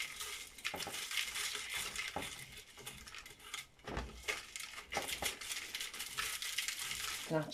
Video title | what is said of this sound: Dehydrated Onions That Last for Months | You can actually hear how crispy they are the sound they're making. So they're well and truly ready.